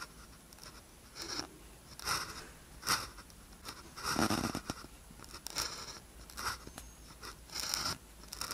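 A blue ballpoint pen tip scratches across a thin white paper practice sheet with a red grid, lying flat, while writing characters. Short, bright, scratchy bursts of pen strokes come one after another, separated by quiet pauses over a faint steady hiss.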